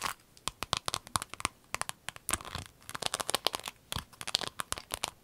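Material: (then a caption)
Vinyl. A rainbow clear vinyl pencil case, folded and rolled, is squeezed and crinkled with long nails. It gives a rapid run of sharp, dry, bright crinkles and clicks, with short scratchy bursts between them. Each snap dies away almost at once.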